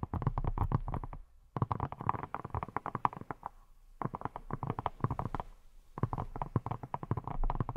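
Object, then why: Silicone pineapple-shaped scrub brush. Long nails tap and scratch a hand-held, hand-sized yellow silicone scrub brush shaped like a pineapple, with a teal leaf top, a textured diamond surface, bristles on its side, and what appears to be a hollow body. The sound comes as quick runs of soft, dull taps with a light midrange click and faint scratching. The runs are separated by brief pauses.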